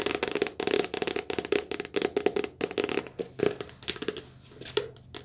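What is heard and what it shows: A softcover paperback book with glossy card front and back covers is held in the hands and tapped and scratched fast with long nails. A rapid run of short, dry, crisp taps and scratchy brushes with bright highs and a hollow mid-range knock. Each sound stops almost instantly, with quieter scratching stretches between bursts.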